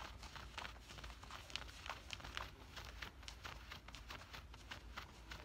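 Fingertips and nails scratch and rub the woven cotton fabric near the pocket of worn camouflage cargo pants. The result is a quiet, steady stream of short, bright scratching strokes over a faint low rumble.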